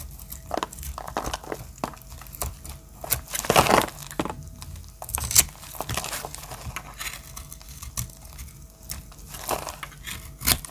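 A solid bar of pink-and-brown marbled dry soap, held in the hand, has its edges shaved and cut with a small metal blade, with the shavings falling onto a grey surface below. Dry scraping and crumbling sounds come in short bursts of bright crackle, louder around the fourth and fifth seconds and again near the end. A faint low hum runs underneath.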